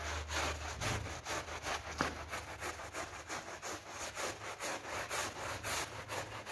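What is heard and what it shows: A hand brush held in a green glove scrubs a wet, foam-covered pink PVC coil door mat with quick back-and-forth strokes. The result is a steady rhythm of bright, raspy, sawing-like swishes over a low constant hum, with a brief sharp click near the middle.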